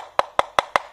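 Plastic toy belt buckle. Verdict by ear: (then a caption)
Hollow. Four quick, sharp knocks on a plastic Sword of Logos toy belt buckle for the Buster/Kenzan belt, which has no electronics inside. Each tap is a short, dry, mid-pitched click that sounds very hollow.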